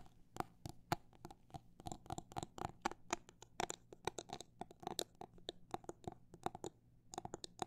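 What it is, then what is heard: Plastic glitter phone case. Long black nails tap and scratch an empty clear hard plastic phone case filled with liquid glitter and fitted with a metal ring holder. A quick, irregular run of short, dry clicks, some bunched fast and others spaced out, each with a hollow plastic tone around 700 Hz and a bright edge, dies away almost instantly over a faint low hum.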